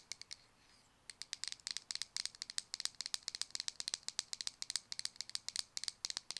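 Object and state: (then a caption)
Plastic cosmetic jar. Long nails tap and scratch the side and rim of a small white round plastic cosmetic jar with a dark lid. About 36 quick, dry, bright clicks come in rapid bursts, with a brief pause near the start. Each tap is very high and crisp, dies away almost instantly and has no low end.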